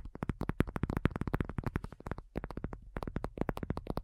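Long nails on both hands tap quickly across a thin, hollow-backed black folding faux leather iPad cover lying flat. About thirty short taps come in a rapid, uneven run, each a dull, low, hollow thump with a faint bright click at the nail. The taps stop dead with no ring.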